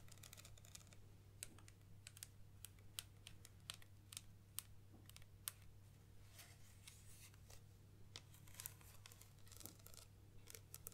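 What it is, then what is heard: Plastic camera zoom lens. Long nails tap along the barrel of a black Nikon 70-300mm zoom lens with a plastic body, ribbed rubber zoom ring and white rear cap, held upright over a table. Dozens of quick, dry, bright clicks come in irregular bursts, each dying away almost instantly, over a steady low hum.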